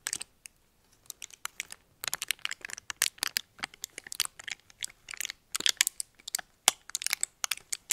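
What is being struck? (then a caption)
Thin metallic foil wrapper. Fingers crinkle and flex a small, thin, crumpled red metallic foil wrapper held up in the hands. Sharp, bright crackles come in quick irregular bursts, sparse with a near-silent gap in the first second or two, then dense and busy to the end. There is almost no low end and each crackle stops instantly.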